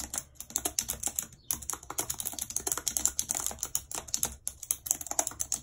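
Long red nails tap the keys of a white plastic computer keyboard in steady typing. A quick, dense run of sharp, bright plastic clicks, each dying away almost instantly, with only a few brief pauses.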